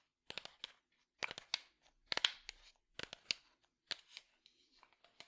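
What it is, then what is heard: Small wooden box tapped and scratched. A small, hollow, light-wood box held in one hand is tapped and scratched with the fingertips. Quick clusters of dry, bright taps and short scratchy rustles come in bursts with brief silences between. Each sound stops almost instantly, with no ringing.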